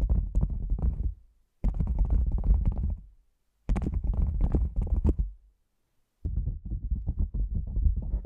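A hollow, black padded nylon fabric lens pouch held over the microphone is tapped rapidly with fingertips and nails. The tapping comes in four bursts separated by short silences, producing dull, deep thumping with soft crackly fabric texture on top.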